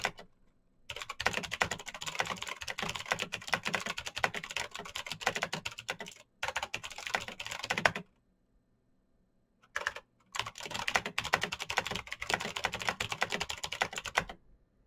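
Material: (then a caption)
Plastic. A black Razer BlackWidow mechanical keyboard with plastic keycaps on clicky green switches is typed on fast with the fingertips. Dense, bright clicking runs in long bursts, with a short gap near 6 seconds and a longer pause from about 8 to 10 seconds before the typing resumes.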